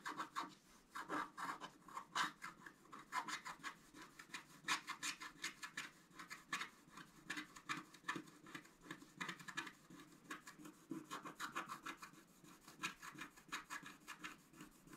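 A scratch-art paper board, held flat by one hand, is scratched densely with a thin wooden stylus. Quiet, dry rasping strokes follow one another rapidly, each brief and bright, with a scratchy tone centred around 1.2 kHz and almost no low end.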